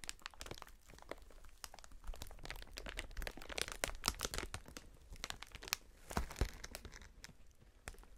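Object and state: Plastic air cushion packaging sheet.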